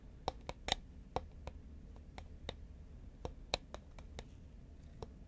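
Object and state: Cardboard chip can tapped with nails.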